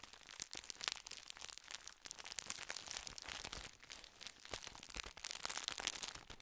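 A full gold plastic biscuit wrapper is held upright close to the microphone and crinkled and rubbed with the fingertips. It gives a dense, continuous run of sharp, bright crackles and crinkles, mostly high-pitched with almost no low end.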